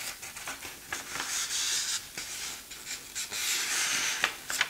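Fingertips pinch, rub and crinkle the edge of a thin printed page of an open 1960s German paper magazine resting on a tablecloth as the page is turned. Bright, hissy rustling swells rise and fade in long waves, punctuated by short, sharp crackles and snaps, with almost nothing in the low end.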